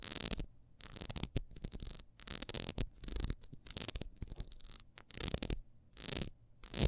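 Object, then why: Ribbed wax candle. Long nails scratch quickly across the horizontal ridges of a small, solid, orange, ribbed wax beehive candle, held upright and then on its side. Short bursts of dry, bright scraping and rasping come and go with quiet gaps between them, over a low hum underneath.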